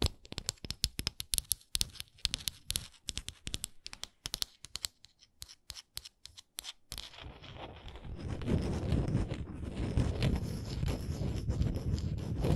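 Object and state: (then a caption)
Textured wooden ornament. Long nails tap rapidly on a textured wooden ornament, making a run of short, dry clicks with bright edges for about seven seconds. They then switch to scratching across its textured surface, giving a steady, louder rasping that fills the rest of the clip.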